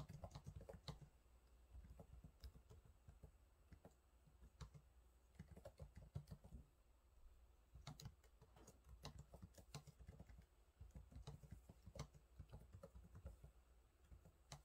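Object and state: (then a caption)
Plastic laptop keyboard being typed on. Fingertips type on the low-profile plastic keys of a silver laptop keyboard, producing a steady stream of quiet, quick taps. Each keystroke is a short, soft click with a low thump beneath it and a brief bright tick, arriving in uneven bursts with small pauses between them.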